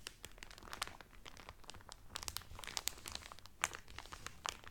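A folded cotton Carnival Cruise towel wrapped in cellophane is rubbed and scratched lightly by both hands with fingertips and nails. The result is quiet, dense crinkling and crackling, dotted with sharp, bright snaps that die away instantly.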